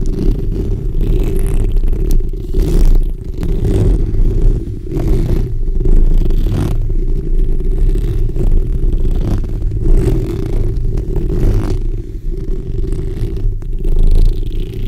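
The backs of long nails scratch the hollow steel mesh grille of a black condenser microphone while the fingers rest on the mesh. This produces a dense, continuous rumbling scrape that is almost entirely low and boomy, with rough friction texture and brief swells. It stays at a fairly steady loud level throughout.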